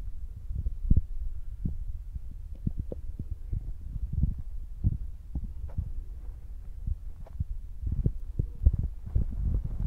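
Fingertips of both hands tap rapidly on top of a soft, spongy black foam windscreen fitted on a Zoom recorder. The result is a steady run of dull, muffled low thumps that die away almost instantly, sitting over a faint low hum with no brightness at all.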